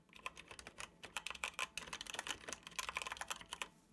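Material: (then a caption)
Plastic. Fingertips tap the keys of a dark plastic computer keyboard in steady typing. It makes a quick run of bright, crisp clicks, each dying away almost at once, with almost no low end.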